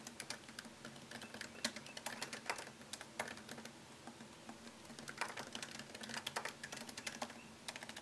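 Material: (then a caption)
Plastic. Fingertips tap fast on a MacBook Pro keyboard, its low-profile plastic keys set in a thin, solid aluminum chassis. The result is a quick, uneven stream of short, bright clicks with very little ring, over a faint steady low hum.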